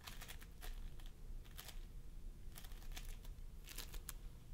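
Fingertips of both hands press and squish a mound of pastel floam sculpting foam made of polystyrene beads on a wooden table. Clusters of bright, crinkly crackles and tiny pops come in short bursts over a steady low hum, with quiet pauses between squeezes.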